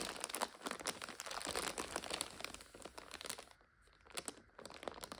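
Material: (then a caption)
Plastic film. Long nails scratch a full purple and red 5-packet instant noodle multipack in its plastic overwrap, and hands lift and squeeze it. This produces dense, bright crinkling and crackling throughout. The sound dips briefly near the end before the crinkling resumes.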